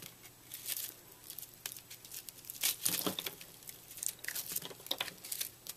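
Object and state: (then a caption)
Microwaved puffed soap being cut and crumbled. A fist-sized block of white soap, puffed up in a microwave into a brittle, porous foam, is held in the hand while a utility knife blade cuts and scrapes it into crumbs. Bright, dry crackling and crunching bursts of scraping and crumbling come in quick, uneven succession, with almost no low end.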